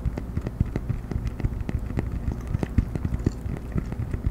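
A round cork coaster is held edge-up in front of the microphone and tapped and scratched with the fingernails of both hands. The result is a dense, fast patter of dull, low, muffled taps with very short decay, mixed with soft scratching.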